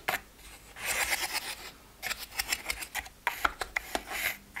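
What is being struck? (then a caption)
Plastic pill organizer. Fingertips and nails scratch and tap the lids of a plastic weekly pill box with open, empty compartments. Bright, raspy scratching swells in bursts, broken by quick, sharp plastic clicks that die away almost at once.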